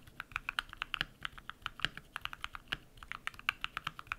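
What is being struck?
Mechanical keyboard with plastic keycaps.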